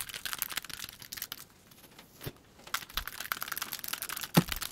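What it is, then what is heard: Plastic puzzle cube tapped with nails. Long pointed nails tap and click rapidly on the faces of a small hand-held plastic 3x3 Rubik's cube with colored stickers and a solid mechanism. Dense bursts of short, dry, bright clicks and crinkly ticks fill the clip, broken by a quieter pause in the middle, and end with one sharper, louder click near the end.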